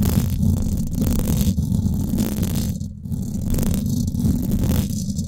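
Long acrylic nails scratch the top and sides of the hollow domed steel mesh grille on a Blue Yeti microphone. The result is a continuous, dense, rumbling scrape concentrated in the low end, with a faint brighter hiss above. It dips briefly in level around the three-second mark before the scratching resumes.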